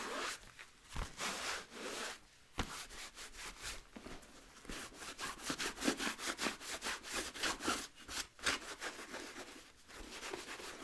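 A blue microfiber cloth rubs the rubber sole edge and the upper of a hollow, empty wheat nubuck leather boot held sole up. The rubbing comes as a steady run of quick, bright, hissy scrubbing strokes with brief pauses between bursts.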